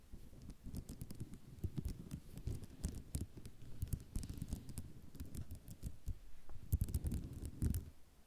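Long nails tap and scratch across a white ceramic mosaic tile sheet, producing a dense run of quick, dry clicks and rattling taps. Sharp bright ticks sit over a soft low scraping texture, and the taps die away almost instantly.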